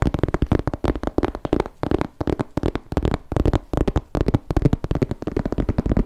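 Fingertips rapidly tap and scratch a small grey croc-embossed leather crossbody bag with a flap, held in both hands. The result is a dense run of dull, dry, low-heavy taps that stop short with no ring, mixed with soft scratching between them.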